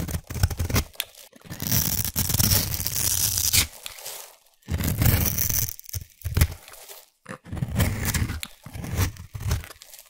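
A solid orange embossed bar of soap, held in the hand, has its edge scraped with a black abrasive blade tool, shaving off crumbs. Heard are dry, crunchy, tearing scrapes in uneven bursts separated by short pauses, with a heavy low rasp and a bright gritty hiss on top.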